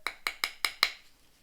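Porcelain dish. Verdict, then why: Unrestored. An early 19th-century Nanking Chinese porcelain dish is tapped against the bottom teeth on an area that is clearly not restored. Five sharp, bright clinks sound at a steady pace, with the same high ring each time. The consistent sharp tap shows unrestored porcelain.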